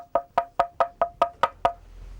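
Eight evenly spaced taps on a cracked ceramic stove tile produce short, dull knocks with a tone around 680 Hz and overtones near 1.2 kHz. Each knock dies away almost at once instead of ringing. The quick, muffled decay reveals the crack, so the tile sounds different from an uncracked one.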